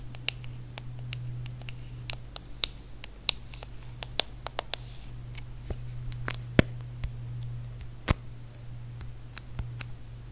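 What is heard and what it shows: Long nails tap and scratch the brushed aluminum back and edge of a small, solid, hand-held iPhone. About twenty sharp, bright clicks and ticks die away instantly, with softer scratchy rustles between them. A steady low hum around 121 Hz runs underneath throughout.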